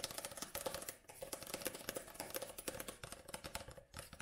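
Long nails tap rapidly on the glossy card cover of a paperback book, held first tilted and then upright. The result is a dense run of short, dry clicks with a faint tone near 520 Hz and bright, crisp edges that die away almost instantly.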